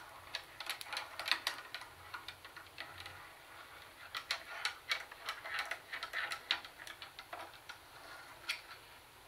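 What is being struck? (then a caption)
Plastic CD cassette boombox. Long nails tap and click on the hollow plastic handle and CD lid of a plastic CD cassette boombox. The result is an irregular stream of quick, dry, bright clicks that stop almost instantly, with no low boom. The clicks come in bursts of varying loudness over a faint background hiss.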